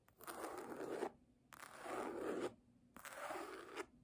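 Long nails scratch across the embossed cover of a red hardcover book lying flat. Three separate, roughly one-second scraping strokes are heard, each a dry, grainy rasp with a warm midrange body and a faint bright hiss. Short quiet pauses fall between them.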